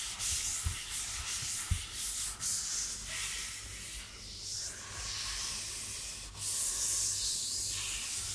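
An empty yellow rubber household glove with a green scouring sponge pad is held in one hand and rubbed and scratched with the fingertips and long nails of the other hand. The result is a steady, bright, hissy scratching and rubbing, with a few soft low thumps near the start.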